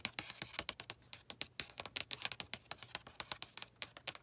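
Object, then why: Paperback book with a glossy card cover. Long nails give rapid fingertip and nail taps on the glossy card cover of a blue paperback book lying flat. About 29 quick, crisp clicks sound bright and dry with almost no low end, each dying away instantly in a quiet, steady, typing-like patter.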